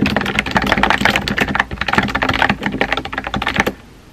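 Fingertips with painted nails type rapidly on a compact, hollow-bodied pink plastic mechanical keyboard with round white-and-pink typewriter-style keycaps, resting on a desk. The quick, clacky key taps have a bright click over a hollow, low thock, each tap dying almost at once. The typing stops just before the end, leaving a quiet tail.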